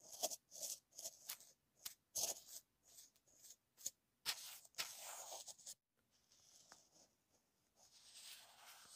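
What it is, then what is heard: Plastic earphone inline remote. A small paintbrush taps and brushes across the small black plastic inline mic/remote of a wired earphone, taped flat onto a card on a desk. Quick, dry, bright taps and scratchy strokes come close to the mic, then a steady rough brushing cuts off abruptly. Softer, hissy sweeps follow and swell slightly toward the end, with almost no low end throughout.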